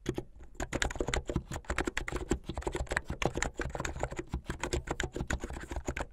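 Fingertips with medium-length painted nails type fast on a plastic mechanical keyboard with white and blue plastic keycaps. Around three dozen quick, clacky keystrokes come in a steady run, each a short, dry click with a low thock and a bright tick on top.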